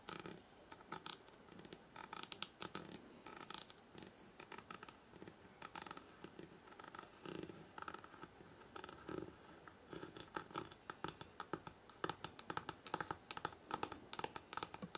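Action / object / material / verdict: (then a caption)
tap / paper page edges of a hardcover book / paper / none. Fingertips and nails tap and scratch fast on the paper page edges of a thick hardcover book held horizontally. Dense, dry, quiet clicks with bright papery scratching grow busier and sharper toward the end, each tap dying away almost at once.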